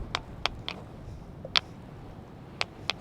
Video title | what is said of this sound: The Ringing Stone / Clach a' Coire | Makes quite a ringing noise, a bit like a bell.